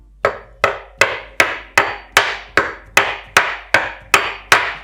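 A metal hammer with a plastic cover strikes a porcelain stoneware kitchen countertop 13 times at a steady pace, each blow a sharp, bright knock with a quick decay. The countertop stays intact with nothing crumbled or broken, owing to the properties of porcelain stoneware as opposed to ordinary tiles.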